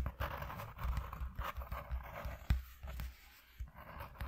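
Fingertips with short nails on both hands tap fast on a flat white corrugated cardboard piece lying on a dark cloth. The result is a dense run of soft, dull, low thuds with a papery rustle, one sharper tap standing out midway and a brief lull before the tapping resumes.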